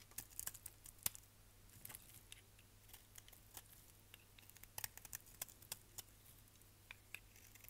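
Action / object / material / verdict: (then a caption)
scrape / bar of soap / soap / none. A solid orange striped bar of soap is held in the hand and scraped with a utility knife blade, sending chunks and flakes off the bar. The sound is a quiet series of irregular, crisp, bright scratches and ticks with very short decay, over a faint steady low hum.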